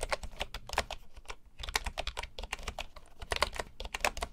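Fingertips type steadily on a full-size bamboo computer keyboard with wooden keycaps, producing a rapid stream of short, dry clicks. Each tap is crisp and woody with a bright top and a soft low thump, dying away almost instantly.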